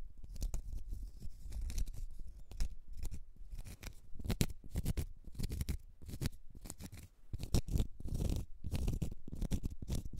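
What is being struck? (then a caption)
Cork stopper. Long red nails scratch a small, solid, round cork stopper in a steady series of quick, dry scrapes. Each stroke is a short, dull rasp, mostly low and muffled, with brief bright edges, and it stops almost instantly with no ring.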